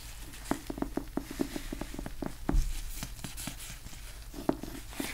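Fingertips in blue nitrile gloves tap and scratch the cover of a small, solid, old yellow cloth-covered hardcover book, "History of Richard the Third," as it is tilted and turned. A quick series of soft, dull, low taps sounds over a faint brushing scratch, with one slightly louder rubbing thump in the middle.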